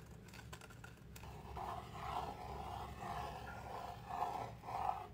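Fingernails scratch across the surface of a flat, palm-sized, laser-cut MDF board with slots, a solid thin sheet. After a few faint ticks, a series of dry, raspy scratching strokes follows at an uneven rhythm, each with a mid-pitched scraping tone around 730 Hz. The strokes grow slightly louder toward the end over a low rumble.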